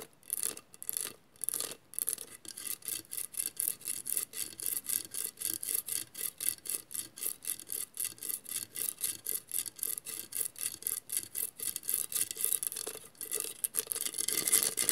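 Long nails scratch quickly over the tile grout of a hollow vase covered in mirrored glass mosaic tiles. The result is a rapid, somewhat uneven series of dry, raspy strokes, about three to four per second, that are bright and high-pitched with almost no low end and very little ring after each stroke.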